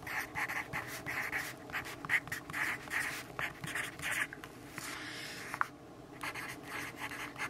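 A pencil tip scratches across the sheet of an open paper notebook on a wooden table as a hand writes lines of text. The clip is a steady run of short, dry scratching strokes with a bright, papery hiss centered around 2 kHz. There is one sharp tick near the middle, a brief pause, and then the writing resumes.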